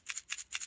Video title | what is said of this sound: Thimble The Christmas Mouse - Day Three | oh yes what a cool sound it rattles doesn't it